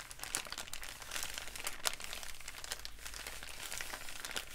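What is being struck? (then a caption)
Kraft paper bag. A wrinkled, empty brown kraft paper bag is crumpled and rubbed between fingertips. The result is a quiet, continuous crinkling with dense bright crackles and a few sharper snaps, over a steady low hum.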